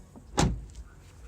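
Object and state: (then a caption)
Car door panel secure, no longer loose. A Mk6 Jetta GLI car door is shut once after foam and MDF board pieces were wedged between the protection bar and the metal door panel. It gives a single low, solid thud with a short decay. The panel no longer sounds loose and the door closes with a normal sound instead of the hollow, floating one it made before.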